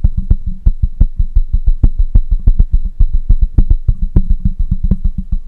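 Fingertips of one hand tap rapidly on the side of a black microphone with a metal mesh grille. The result is a quick, steady stream of short, deep, thumpy knocks that die away almost instantly, with a faint steady high tone underneath.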